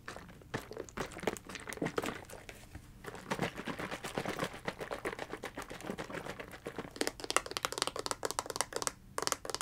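A blue hard-plastic, liquid-filled gel ice pack is held in one hand, shaken, and tapped with fingernails. Dense, quick, crisp clicks and crinkly taps come in irregular bursts, each dying away almost instantly, with bright, dry edges and little low end.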